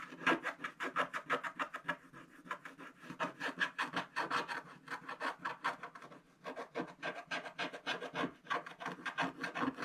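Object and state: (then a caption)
Scratch-art card being scraped with a wooden stylus. A wooden stylus scrapes the black coating off a coloured scratch-art card page near the drawn path and sheep, the thin, solid page lying on a table. A long run of quick, repeated rasping strokes, each short and dry with a bright, scratchy edge centred around 1.6 kHz and almost no low end, rises and falls steadily in a steady rhythm.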